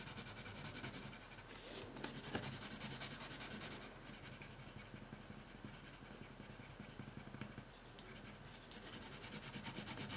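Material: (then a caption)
Paper. A hand shades steadily with a red colored pencil on a thin paper coloring sheet lying on a wooden table, rubbing and scratching the lead across the paper. The result is a continuous bright, dry scratching rasp in quick repeated strokes over a low steady hum. The strokes grow softer through the middle and return louder near the end.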